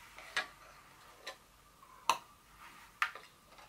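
Long nails tap the top edges and sides of a small, open, empty-looking white and blue paperboard Dior fragrance box standing upright on a table. Sharp, dry clicks come at an unhurried, uneven pace, each bright and ending almost at once, with a faint papery rustle between them.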